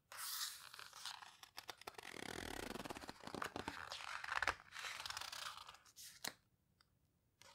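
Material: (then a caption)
Paper. Fingertips squeeze and rub the coarse paper pages of an open paper photo book and turn them. Crisp, bright crunching and crinkling rustles run almost continuously with short dips, ending in a sharp snap before the sound drops to near silence.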